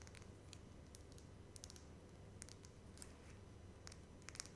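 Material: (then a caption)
Glass. Long red acrylic nails tap a small, cylindrical dark blue Yves Rocher Filler Vegetal serum bottle with a pump top, held up in both hands; the bottle is glass or hard plastic and seems filled with liquid. The taps come as a scattered series of quick, light, bright clicks that stop instantly, over a steady low rumble.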